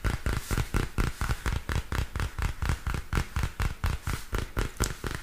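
Long fingernails tap and scratch the glossy card cover of a small purple spiral-bound paper notebook. They make a quick, loosely steady run of soft, dull taps, with most of the energy low and a faint bright scratch over it. Each tap dies away almost at once.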